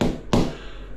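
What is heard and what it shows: A laid ceramic tile is tapped twice, giving two short, solid knocks with a low, dull body and almost no ring. The sound indicates a solid, properly bonded tile that will last a hundred years.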